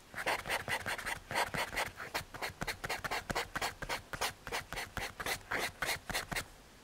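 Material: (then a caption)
Paper, MDF. A paper blending stump is rubbed over a graphite drawing on a small, flat, solid brown MDF/hardboard panel. It makes a quick, uneven series of short, dry, scratchy strokes with a bright papery hiss. Each stroke stops almost immediately, with no ring.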